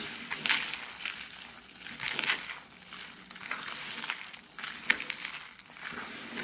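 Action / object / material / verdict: scrape / soap shavings / soap / none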